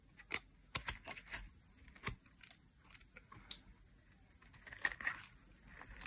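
A metal utility blade carves strips off the edge of a dry, solid, bright green soap bar held in hand. It produces quiet, crisp scraping and crackling with sharp, bright clicks and brief rustling bursts. The short cuts come in uneven clusters separated by near-silence.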